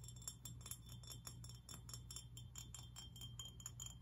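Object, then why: Glass fish figurine. A glass fish figurine is tapped and scratched, giving rapid, irregular clinks with a bright, chime-like glass ring that fades almost immediately. A steady low hum sits underneath the quiet tapping throughout.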